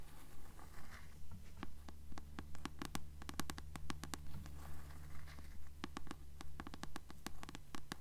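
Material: Paper.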